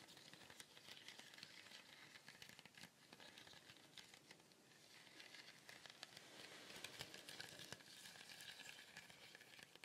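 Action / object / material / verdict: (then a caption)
shake / woven fibre shaker with wooden base / woven fibre / none. A small, colourful woven fibre shaker with a wooden base is tilted slowly, so the contents inside slide and sizzle. The result is a continuous, bright, crinkly hiss made of dense tiny clicks. It dips slightly in the middle and swells louder in the second half.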